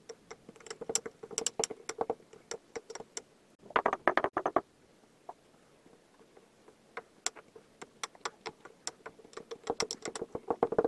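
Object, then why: Kinetic sand in a glass tumbler pressed with a wooden muddler. A wooden muddler repeatedly presses and tamps white, pink and blue layers of kinetic sand in a clear glass tumbler. It makes a rapid patter of short, crisp taps and soft crunches, mostly midrange with bright clicky edges. A louder cluster comes around four seconds, followed by a brief sparse pause before the tamping picks up again.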